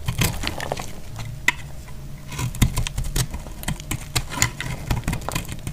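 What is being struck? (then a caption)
Bar of soap cut with a thin metal blade. A thin metal blade scrapes and carves crispy curls off the surface of a hand-sized, solid pink dry soap bar held in the hand over a pile of soap shavings. A steady run of dry, crackly scrapes and sharp bright ticks sits over a low rumble, with a few louder snaps standing out.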